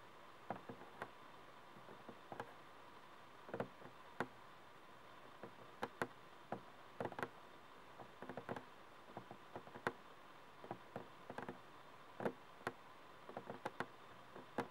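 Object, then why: Small frosted plastic mushroom lamp. Painted fingernails tap and scratch the sides of a small, hollow, frosted plastic LED mushroom night light as it glows and changes color. Quick, dry, hollow plastic ticks and clicks come in irregular bursts with brief, faint scratching between them. A quiet steady hum sits underneath, and each tap dies away almost at once.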